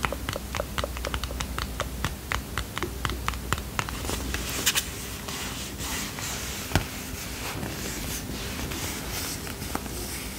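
Fingernails tap and rub a small red and white cardboard playing card box. Quick, sharp clicks fill the first few seconds, then give way to a dry, bright scratching with a few more taps. A low, steady hum runs underneath throughout.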